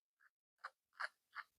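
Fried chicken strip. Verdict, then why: Crispy. Finished crispy fried chicken strips get a crunch test, making four short, dry, crackly crunches centered in the mid-highs. The first crunch is faint, and the next three are louder. The strips sound nice and crunchy.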